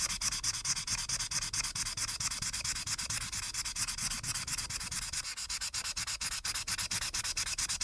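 A marker's felt tip rubs and scratches in fast back-and-forth strokes across the top edge of a flat printed paper coloring page, filling it with orange while one hand holds the sheet down on a dark backing. The sound is a bright, papery hiss that pulses with each quick stroke at a steady, rapid pace, with almost no low end.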